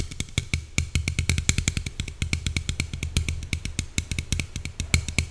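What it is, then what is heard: Aluminium soda can. Long nails tap rapidly on the side and top of a slim red Coca-Cola aluminium can held upright. A quick, steady stream of sharp taps is heard, each combining a bright metallic click with a low, hollow thump. Each tap dies away almost at once.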